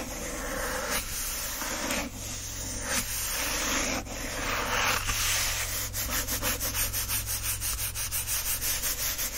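Fingertips rub and trace across the printed paper pages of an open book, making a dry, bright, hissing scrape. Long sweeping rubs in the first half give way to a quick, rhythmic series of short scratching strokes, all over a faint steady low hum.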